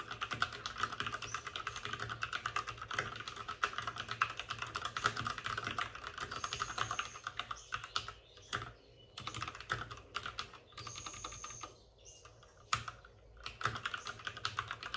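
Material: Plastic.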